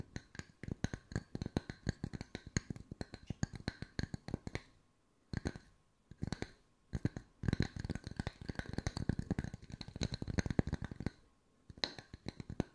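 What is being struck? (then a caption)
Wooden discs. Wooden circles are tapped with the fingertips at mixed speeds, giving dense runs of short, dry knocks with a low body and a light bright click on each hit. The bursts stop for brief pauses near 5, 7 and 11 seconds, then pick up again, and each tap dies away almost at once.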